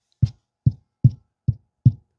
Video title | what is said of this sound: 카오디오 스피커 장착 시 알갈이 윗 단계 난이도 과정을 보여줍니다 How to fix the car audio speaker Difficulty Up 스피커 채결아대 링 장착 요령 | 앞소리보다는 이제 그 약간 무거운 느낌